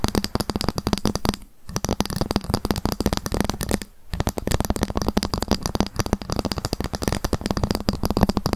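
A ruler is tapped rapidly with long fingernails, with occasional scratching. A dense stream of short, sharp clicks with a low, hollow tone carries on throughout, broken by two brief pauses near 1.5 and 4 seconds.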